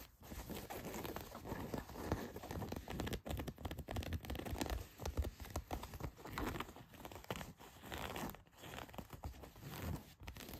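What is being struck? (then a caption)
Denim jeans. Long white nails scratch and rub the back pocket of blue denim jeans laid flat. The result is a steady, quiet stream of rough, rasping scratches with a dull low body and little brightness, pausing only briefly between strokes.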